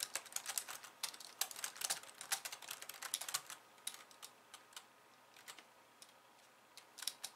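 Long painted nails type on a pink low-profile plastic keyboard with white keys resting on a wooden desk. A rapid run of bright, crisp clicks and taps fills the first three and a half seconds. Sparser, quieter taps follow, then a final quick flurry near the end.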